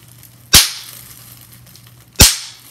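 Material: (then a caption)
Plastic. Clear plastic bubble wrap is bunched in the hands while fingertips and long nails pinch its hollow air bubbles. Two sharp, bright pops ring out about a second and a half apart, each fading quickly over a quiet background.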